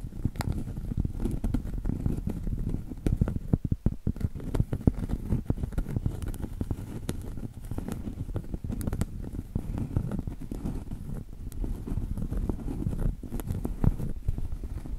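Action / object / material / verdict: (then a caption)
tap / cork trivet / cork / none. Long acrylic nails tap and scratch the thick rim of a round, solid cork trivet held edge-on. The result is a steady stream of rapid, soft, dull taps and scratchy patter, mostly low and muffled, with no ring after each tap.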